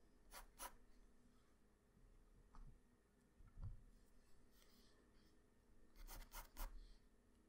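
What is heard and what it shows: A wooden graphite pencil scratches lines across a flat white drawing paper sheet. Short, bright strokes come at the start, once or twice in the middle, and in a quick cluster near the end, over a quiet low hum.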